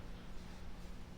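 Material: Nothing is struck.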